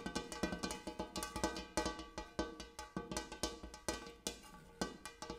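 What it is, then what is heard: Large metal bowl tapped. A large metal bowl used as a coffee table is tapped repeatedly in a quick, uneven rhythm. Each tap gives a short, resonant metallic ring with a low fundamental and bright overtones, much like a cowbell, and the taps overlap into a continuous shimmering pattern.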